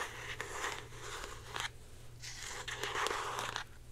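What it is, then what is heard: Plastic deodorant stick. Long painted nails scratch and tap a blue plastic Secret deodorant stick, a hand-sized hollow stick with a cap, held in one hand. Bright, crackly scratching comes in bursts broken by short sharp taps, with a brief quieter lull around two seconds. A steady low hum runs underneath throughout.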